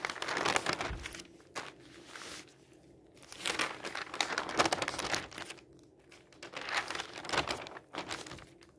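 Fingers slide over and turn the thin pages of an open newsprint newspaper lying on a table, rubbing and crinkling the paper. Dry, bright rustles and crinkles come in several soft, uneven surges with brief quieter pauses between them, and nothing rings on after each movement.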